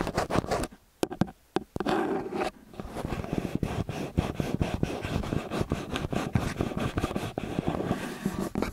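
Fingertips and nails tap and scratch the metal mesh capsules of a small X/Y stereo microphone with a metal body, then fingers scratch along the body. A few sharp, close taps separated by near-silence give way to a dense, continuous, low-heavy scratching and rubbing texture with rapid bursts of friction.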